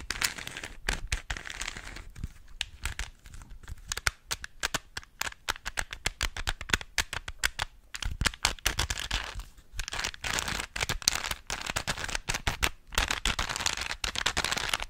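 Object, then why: Plastic puzzle cube. Fingers twist the layers of a small hollow plastic 3x3 Rubik's cube, making rapid, bright plastic clicks and crinkly rattles in quick bursts. Each click is sharp and dies away almost at once, with a little low thump beneath.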